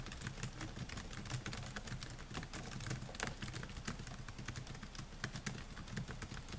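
Fingertips type rapidly on the plastic keys of a silver Dell laptop with a metal and plastic body, producing a fast, steady stream of short, bright clicking taps. A low, steady hum sits underneath the tapping throughout.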